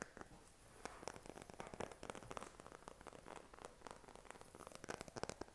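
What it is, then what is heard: Phone in silicone case. A smartphone in a pink silicone case is tapped on the back with fingernails and fingertips. The result is a quiet run of quick, dry clicks and soft thuds that die away almost instantly, with no ring.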